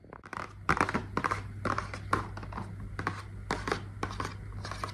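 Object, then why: Small cardboard box. A small, hollow pink printed cardboard box is held in both hands and tapped and scratched with long nails. Quick, dry, papery taps and scratchy crinkles come in irregular bursts over a steady low hum, with no ring after each tap.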